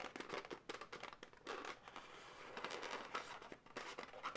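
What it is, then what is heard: Inflated latex balloon animal. Long nails rapidly tap and scratch an inflated, hollow, light pink latex balloon dog. The result is a quiet, busy stream of crinkly, rubbery scratches and taps with occasional squeaky tones around 1.3 kHz. It has little low end and dies away quickly.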